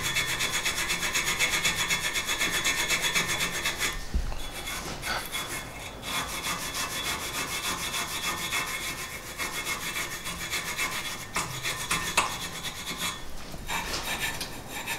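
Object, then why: Rusty cast iron brake caliper bracket. A gloved hand scrapes and rubs a rusty cast iron brake caliper bracket, mounted with the caliper on a car wheel hub, using a small hand tool. The result is a steady, bright, rasping filing sound at about four strokes per second, louder for the first few seconds and then slightly softer, with brief breaks in the rhythm.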